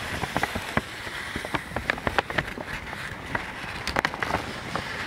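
A thin folded sheet of white paper is held in both hands close to the microphone while fingertips crinkle and rub it. Sharp, dry crackles and snaps come in irregular bursts over a steady papery rustle, with bright crisp edges that die away at once.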